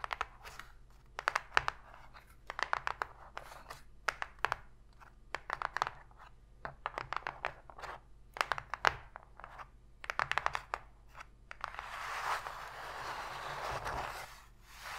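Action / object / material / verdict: tap / empty shallow cardboard box / cardboard / none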